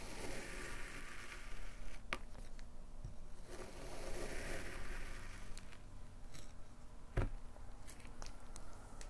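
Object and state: Kinetic sand block being cut.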